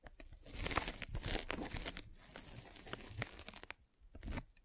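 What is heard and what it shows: A metal-spiked derma roller is rolled over a white polyethylene foam net sleeve fitted over a microphone, making a dense, crinkly scratching with bright crackles and low rumbling thumps. The rustling runs steadily, dips briefly near the end, then returns for one more short burst.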